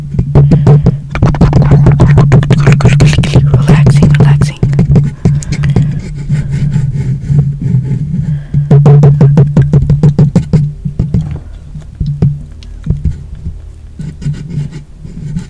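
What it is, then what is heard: Metal condenser microphone being tapped. Fingertips and short nails tap repeatedly along the side of a blue-grey, metal-bodied desktop USB condenser microphone with a hollow housing, black control knobs and a side stand mount, including near the stand knob. The rapid, uneven taps come through as deep, boomy thumps centred low with a short ring and bright clicky edges, running continuously and fading somewhat toward the end.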